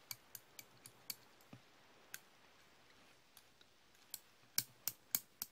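Solid steel slip-joint pliers held in the hand are opened and closed, so the pivot clicks and the jaws clack. A series of sharp, bright, dry clicks comes at an uneven pace over a quiet background, each dying away almost instantly, with the loudest clacks near the end.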